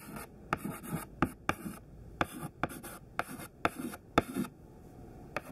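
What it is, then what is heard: Chalk writing on a chalkboard. A thin white stick of classroom chalk, held in the fingertips, writes a list of words on a black chalkboard. Short, dry scratching strokes alternate with eleven sharp taps as the chalk strikes the board, with brief quiet gaps between words.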